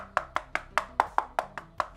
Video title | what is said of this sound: Redragon K552 - Still Any Good 2023??? | not terrible but definitely hollow